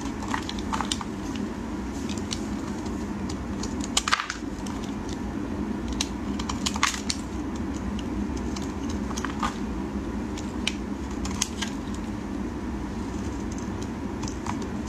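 A utility knife blade shaves a solid, dry green bar of soap into thin curls. A steady, low scraping hiss runs throughout, scattered with many short, crisp, bright crackles and snaps as the curls break away.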